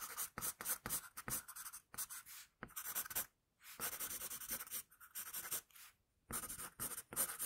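A wooden pencil, held near its tip, makes continuous scratching strokes on a flat paper sheet. The sound is a quiet, bright, papery scratch in quick rhythmic bursts, with brief pauses near three and a half and six seconds.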